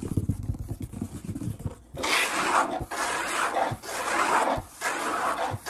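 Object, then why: Wood-grain tabletop. Fingertips tap and scratch on a large, solid brown wood-grain tabletop, and one hand also sweeps across it. The first two seconds are a rapid patter of short low taps. Then come several long, broad scraping sweeps that rise and fall in loudness, broken by brief low knocks.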